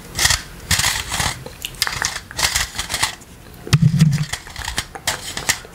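A green plastic electric fly-swatter racket with a hollow body and wire mesh face is held close and tapped and scratched on the mesh with small rubber toy hands worn on the fingertips. Irregular bursts of bright, scratchy rasping mix with soft low thumps and short clicks. A brief low hum rises around the four-second mark.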